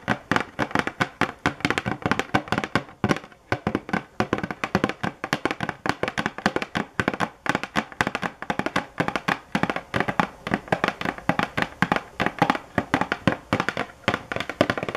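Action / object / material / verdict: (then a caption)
tap / covered cardboard box / cardboard / none. Long nail tips tap rapidly on the top of a hollow cardboard box covered in a sunflower print. Dozens of short, dry, hollow knocks run steadily through the clip, each dying away almost at once.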